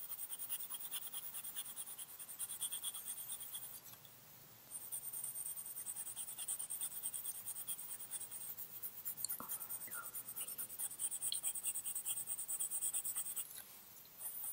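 A green coloured pencil scratches and rubs across a small flat cream paper drawing card lying on a white table while colouring in the drawing. The sound is a quiet, continuous, bright, high scratching of pencil strokes, with brief softer lulls around 4 seconds and near the end.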